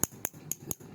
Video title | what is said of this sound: สมเด็จปรกโพธิ์ ปู่นาค เนื้อผงใบลาน วัดระฆัง 2497 หลังมีรอยจาร | มีความแกร่งนะครับแต่มีความเปราะนะครับจับเคาะอย่างนี้ไม่แตกแน่นอน